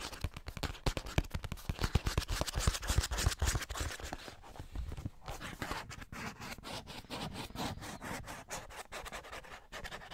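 A hollow cardboard Scotties tissue box, held upright with tissue sticking out of the top, is scratched and rubbed with fingernails. Rapid, dry scratching strokes with a hollow, low-weighted thump come in a dense, uneven run, loudest through the first four seconds. After a brief gap they settle into softer, steadier rubbing that continues to the end.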